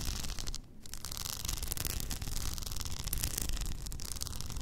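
Long nails scratch an upright, hollow cylindrical tumbler covered in blue plastic rhinestones with a frosted plastic lid. The result is a continuous, gritty rasping with bright clicky texture over a low rumble, with a brief lull early on before the dense scratching resumes.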